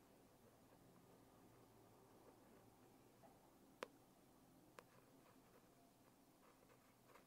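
A long fingernail scratches the embossed text on the cover of a closed holographic foil hardcover notebook, making a faint, soft scratching texture. Then the fingers tap the cover twice, giving two sharp, brief clicks that die out almost at once.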